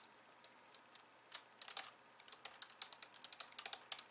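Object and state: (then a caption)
Plastic computer keyboard typing. Long polished nails and fingertips type rapidly with both hands on a compact pink and white plastic keyboard resting on a wooden desk. Quiet, bright, sharp clicks start sparse, then build into a quick run of about twenty distinct taps, each cutting off almost instantly with no low-end body.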